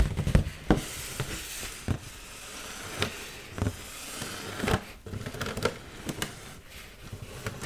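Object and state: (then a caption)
Foil balloon, tapped. Long pointed nails tap and scratch the surface of an inflated, hollow red heart-shaped mylar foil balloon held in the hands. About ten sharp, crinkly taps stand out over a soft, continuous rustling scratch. Each tap is a short, dry click with a dull low thump beneath it.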